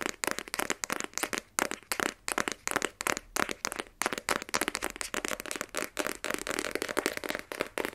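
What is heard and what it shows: A small, black, rigid cardboard iPhone 12 Pro box, hollow with the phone inside, is held in both hands and tapped with fingernails on its front face. Around 39 quick, dry, clicky taps come in uneven rapid bursts with almost no ring. The taps are bright, with a papery hollow tone centered near 1.3 kHz and almost no low end.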